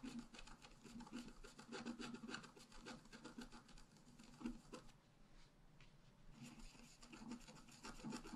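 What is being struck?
Coated scratch-art paper card scraped with a wooden stylus.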